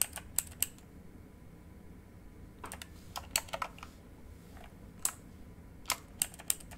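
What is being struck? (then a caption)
Mechanical computer keyboard with plastic keycaps. A full-size backlit RGB mechanical computer keyboard with plastic keycaps on a hollow housing lies flat while fingertips slowly tap its keys, including the arrow keys. Sharp, bright clicks sound in irregular clusters with short pauses between them, over a low steady background hum.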